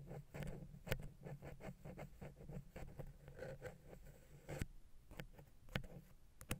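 A wooden ear pick taps and scratches against the silver metal X/Y microphone capsules on a Zoom H6. A steady run of soft, dull taps and scrapes is heard, with a few sharper clicks standing out. The sound is quiet and low-heavy, with short, dry hits that stop almost at once.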